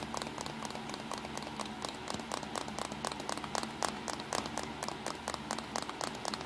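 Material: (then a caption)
Plastic. Fingertips and short nails tap quickly on a small black plastic compact digital camera with a back LCD screen, buttons and a hollow body. A steady run of light, dry, clicky taps with a bright edge fades almost instantly, over a faint low hum.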